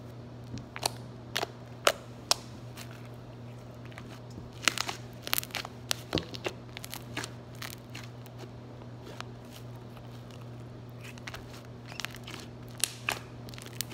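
Fingertips repeatedly poke and press into a soft lavender slime blob resting on a granite countertop, producing sharp, bright popping and clicking air-pocket sounds. The pops come in irregular bursts over a steady low hum.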